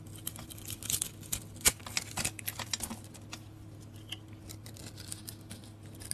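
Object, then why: Bar of soap scraped with a metal blade. A handheld bar of dry soap, yellow with a blue and green glitter coating, is held in the fingers and scraped and shaved with a metal blade, producing crumbly curls. The clip has quiet, bright, crisp scratching and crackling ticks that come in irregular bursts, heaviest in the first half, over a faint low steady hum.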